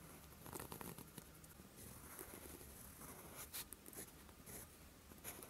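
A steel fountain pen nib scratches across a flat sheet of lined writing paper, writing Korean letters in green ink. The quiet, dry scratching comes in short strokes with brief bright ticks where the nib lifts and lands, over a faint low hum.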